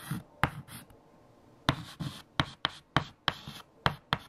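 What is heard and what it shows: Fingertips hold a stick of white chalk and write equations on a large, flat black chalkboard. Eight sharp taps of the chalk striking the board stand out, mixed with softer, bright scratching strokes in between, after a quieter pause near the start.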